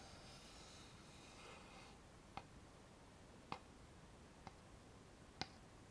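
A thin, flat, solid light-wood board with a notched edge is tapped with fingernails and fingertips. Four short, sharp, dry taps come at uneven intervals over a quiet background hiss, each with a bright click and almost no ring.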